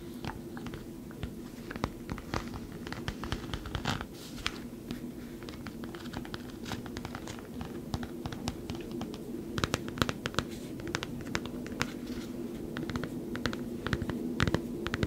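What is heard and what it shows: A small soft foam toy football, white with blue stripes, is tapped and scratched on its tip and sides with long nails. Dense, quick clicks and scratchy strokes run over a steady low hum and grow somewhat louder toward the end.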